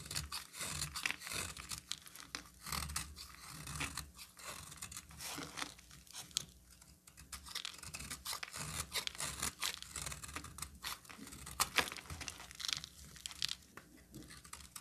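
A solid pink bar of soap, held in the hand, is scraped and cut into flakes with a utility knife blade. A steady stream of quiet, bright, crunchy scraping strokes follows one after another, each short and dry with almost no ring.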